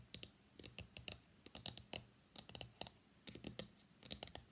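Fingertips and nails tap quickly on the printed top of a small, hollow, closed white cardboard iPhone X box lying on a mat. About twenty bright, dry clicks come in short, rapid bursts, each dying away almost instantly, with a faint hollow low thump beneath them.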